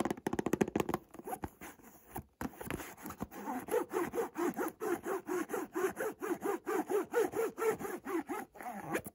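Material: Cardboard.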